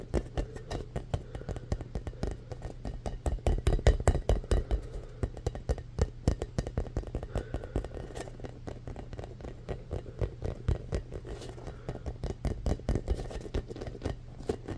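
Fingertips and nails tap and scratch the textured surface of a rainbow foam ball held in one hand. The result is a fast, irregular run of dull, muffled taps with short scratchy rubs, heavy in the low end, with almost no ring and no high sparkle. A steady low hum sits underneath throughout.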